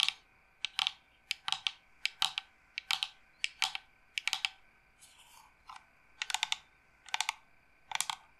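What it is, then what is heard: Carved wooden incense box tapped with nails. A hollow carved wooden incense box, held horizontally and then upright, is tapped and scratched with long nails. Irregular bursts of quick, bright clicks with a dry, short ring centre around 3 kHz, and a softer scratchy patch comes midway.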